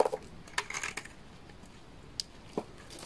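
A utility knife blade scrapes and shaves curls off a solid bar of dry orange laundry soap. The sound is a series of short, crisp scraping and crackling strokes with bright edges, spaced apart by quiet pauses. Each stroke dies away almost at once.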